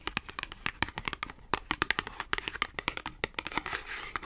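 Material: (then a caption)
Cardboard. Long acrylic nails tap and scratch a small, thin, flat green matte cardboard clothing tag. A rapid run of sharp, dry clicks with almost no ring, centred around 2 kHz with bright upper edges, gives way to a brief rasping scratch near the end.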